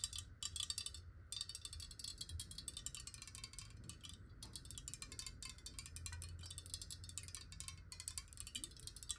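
Long nails tap rapidly on a clear square glass water bottle, hollow and partly filled with water, while it is held and tilted. The taps come as a dense stream of bright, brittle clicks that die away almost instantly, over a faint low rumble.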